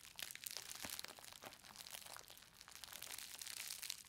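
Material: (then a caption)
Plastic. A green plastic bubble-wrapped book parcel, solid inside, is gripped at both ends and squeezed with fingertips and long nails, crushing the bubbles. A quiet, steady stream of bright crinkling and sharp little snaps runs throughout, with almost no low end and very short decays.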